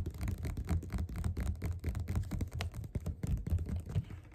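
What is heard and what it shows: Fingerpads of both hands tap fast on the cover of a solid, closed, yellow glossy paperback copy of Othello lying flat on a table. The taps form a rapid, continuous patter of soft, dull, low thuds that stop almost instantly, with no bright or ringing tone.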